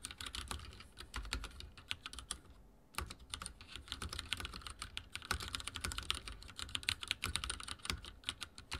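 Fingertips type rapidly on a backlit mechanical keyboard with dark plastic keycaps and a silver frame. The result is a dense stream of sharp, bright clicky keystrokes with a low thock under each press, broken by a brief pause just before the three-second mark.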